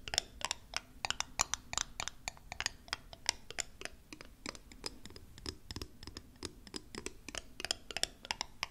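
A small, thick-walled, clear glass square bottle that looks empty is held in the hands and tapped and scratched with long acrylic nails. The result is a rapid, uneven series of sharp, bright clicks and taps with very short ring, over a faint scratching texture, mostly high-pitched with little low end.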